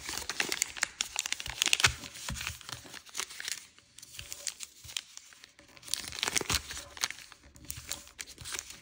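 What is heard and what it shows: A thin sheet of floral-print origami paper on a wooden table is folded and creased by fingertips and nails, which rub along its edges. Bright, dry crinkling and rustling come in dense bursts, easing into a quieter stretch around the middle before the crisp creasing picks up again. There is very little low end.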